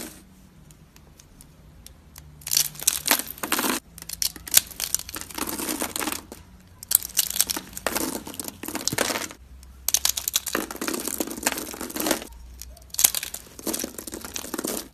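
Fingers with long blue nails squeeze and crush small, hollow, rolled curls of dry, brittle pink soap into flakes on a teal surface. After a quiet start, bursts of bright, crackly crunching come in clusters separated by short pauses.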